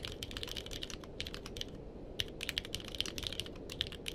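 Two hands type with their fingertips on a purple-cased mechanical keyboard with plastic keycaps, producing about twenty quick, bright clicks that die away almost instantly. There is a brief pause near the middle before the typing picks up again, over a soft, steady low background hiss.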